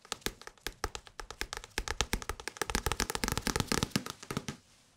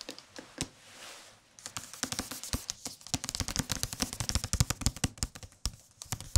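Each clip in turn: First: Quick, dry fingertip taps on a paperback book, each a soft papery thud that dies almost instantly. Second: Quick fingertip taps run in dense bursts, dull soft thuds with a dry papery tick, on a hardcover book.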